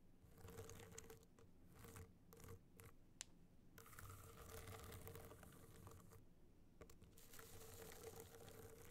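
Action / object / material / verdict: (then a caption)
scrape / hard-shell clutch studded with rhinestones / rhinestone / none. Long black nails scratch across the rhinestone surface of a hollow gold rhinestone-studded hard-shell clutch held tilted. Soft, gritty scratching comes in bursts separated by brief pauses, with one sharp tick partway through, over a low, steady hum and a faint mid-pitched tone. The sound stays quiet throughout.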